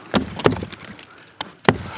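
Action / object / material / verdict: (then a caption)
knock / wooden log or tree trunk / wood / hollow. A hollow-sounding wooden object in a forest, likely a hollow log or tree trunk though not confirmed, is struck like a drum. Five sharp, booming knocks with a midrange tone around 390 Hz stand out, each cutting off almost immediately with little ring, separated by quieter rustling between hits.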